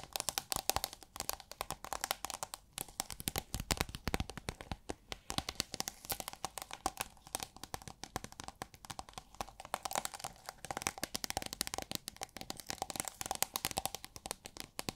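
A roll of iridescent holographic plastic film, formed into a hollow tube and held upright, is tapped and scratched along its surface with long nails. Rapid, dense, crinkly clicks and scrapes run continuously, bright and dry, with a faint tonal ring around 780 Hz.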